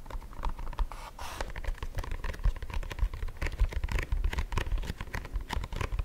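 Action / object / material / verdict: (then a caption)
tap / printed cardboard food box / cardboard / none. Fingertips and nails tap and scratch the surface of a closed, printed cardboard box of Nonno Pepi erbazzone held up in both hands. The result is dense, quick, dry pattering and scratching with very little ring, heavy in the low end, with occasional brighter scraping bursts.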